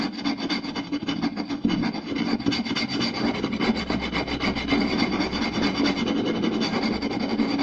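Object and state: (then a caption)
Wooden plate scratched and tapped. Both hands scratch the grain of a round, solid wooden plate with a rim using short nails and tap it with fingertips, fast and aggressively. The result is a dense, continuous rasping scratch over a hollow, mid-pitched woody tone, with quick taps and some brighter scraping texture on top.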